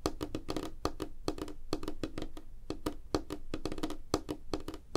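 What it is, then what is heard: Light wooden tabletop. Both hands rapidly tap their fingernails on a flat, solid, light wooden tabletop. The result is a fast, uneven stream of short, dry clicks with a hollow low-mid knock around 300 Hz, each dying away almost at once.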